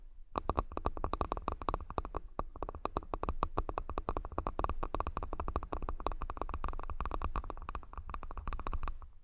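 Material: Wood.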